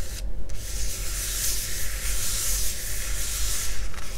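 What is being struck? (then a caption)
Hard plastic face mask. Fingertips and nails of both hands scratch and tap the sides and front of a hollow, glossy yellow hard-plastic face mask worn over the face. A steady, bright scratching hiss rides over a dense low rumble, with a brief quieter break near the start before the rubbing continues unbroken to the end.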